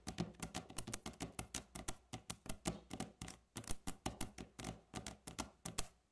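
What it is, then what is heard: Solid wooden tabletop. Long natural fingernail tips of both hands tap fast on a solid, light wooden tabletop. The result is a rapid, steady run of 33 short, dry clicks with a low woody knock under each and a bright edge on top, every tap dying away almost at once.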